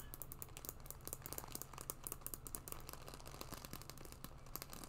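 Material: Leather.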